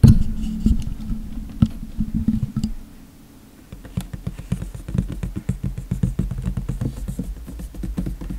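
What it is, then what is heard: Cardboard box. Fingertips tap and patter on the lid of a large, hollow, printed white cardboard hair dryer box lying flat, with its contents not visible. The taps sound as soft, low, hollow thuds that fade quickly, with a bright edge on some of them. A brief near-silent pause falls around the third second, and then a quicker, denser run of tapping follows.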